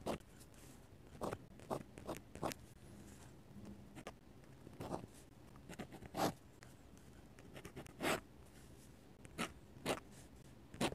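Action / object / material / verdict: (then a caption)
scrape / metal-nib dip pen on paper sketchbook page / paper / none. A metal-nib dip pen scratches quick hatching lines on the white paper of an open sketchbook. Short, dry, bright scratching strokes come in irregular bursts over a quiet, low background, each stroke sharp and brief with almost no ring.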